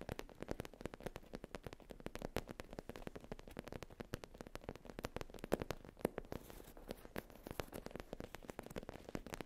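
A black textured faux leather zip pouch, soft and flat on a fluffy mat, is tapped and scratched by long nails. Dense, rapid, dry clicks and scuffs run continuously with no ringing, mostly in the low-mid range.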